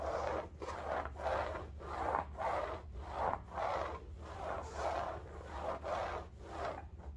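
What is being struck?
Woven fabric bolster pillow.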